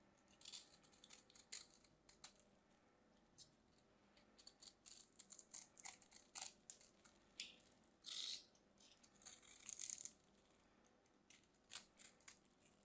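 A solid white bar of soap is held in the hands while its surface is scraped and carved with a small craft knife, and white shavings come off. The sound is a quiet, dry, bright crackle of short scrapes and cuts, with a few longer scraping strokes in between.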